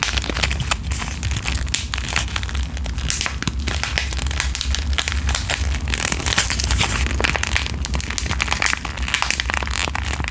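Long green-painted nails tap, scratch and crinkle the surface of a small, flat, sealed pink plastic/foil sheet-mask packet with Korean text, held in front of the microphone. A dense, continuous run of bright crackling and sharp ticking clicks plays over a steady low hum for the whole clip.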